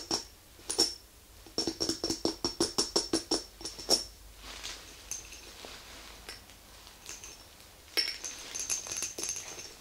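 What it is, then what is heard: Glass candle jar. Long nails tap and scratch a small, round, lidded glass candle jar filled with white wax, resting on a rug, first on the top and then along the glass sides. Quick, bright clicks with a high glassy ping come in rapid bursts, and softer scratching fills the gaps between them.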